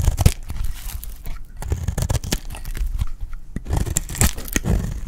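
A solid, dry red bar of soap held in the hand is shaved into curls with a metal utility blade. It produces a run of short, dry scraping and cutting crunches with a crackly, tearing texture. The sound is mostly low thump with bright crisp edges on the cuts.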